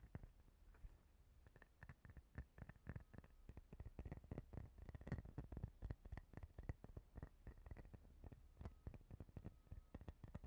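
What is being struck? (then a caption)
Clear plastic face cleansing brush. Long painted fingernails scratch and tap a palm-sized, transparent plastic face cleansing brush with a fine grid pattern and a ridged rim. Quick, irregular clicks and soft scratching patter run continuously at a low level, each tap dull, short and clipped. The sound is weighted toward the low end with almost no bright content.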